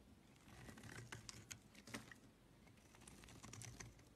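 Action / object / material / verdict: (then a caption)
scrape / soap bar shaved with a metal blade / soap / none. A hand-sized, light blue, solid Camay soap bar is held in the hand while a flat metal blade shaves and carves its surface, peeling off curls and flakes. Quiet, dry scraping and crisp, bright ticks and crackles come in an irregular, typing-like patter over a soft low rumble.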